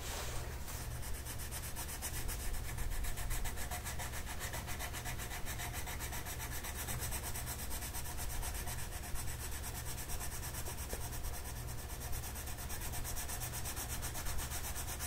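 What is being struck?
Colored pencil on a paper coloring sheet.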